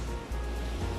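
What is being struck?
Nothing is struck.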